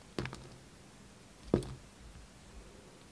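The steel blade of a red utility knife shaves a solid, hand-sized, pink-and-white striped bar of soap with a foil-like embossed face. Two short, crisp scraping cuts are heard, each with a brief low, dull trailing rasp, separated by near silence.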